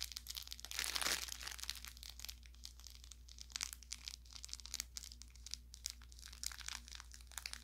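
An orange velour plush carrot toy, soft and stuffed with crinkle filling, is pressed, squeezed and rubbed by fingers near the seam. A close, bright crinkling and crackling runs throughout, with a louder burst of crinkle in the first second and many short, quick pops after it.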